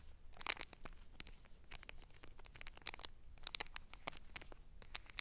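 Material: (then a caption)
Foil laminate. Long black nails scratch and tap the crinkly surface of a small, flat foil-laminate Wet Ones travel pack lying on a fuzzy blanket. Quick, bright crackling taps and scratchy crinkles sound in rapid, irregular bursts. Each one stops dead, over a faint low background hum.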